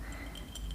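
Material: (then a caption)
Glass. A glass jar holding a few cotton balls is handled, giving soft clinks and faint ticks of glass over a low, steady hum. The sound is quiet and brief, with bright little chimes near 3 kHz that fade quickly.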